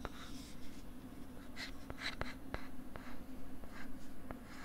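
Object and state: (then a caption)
Plastic LCD writing tablet. A pink plastic stylus writes on a flat pink plastic LCD writing tablet held close to the mic, making soft scratching strokes broken by sharp, brief ticks. A steady low hum and rumble run underneath throughout.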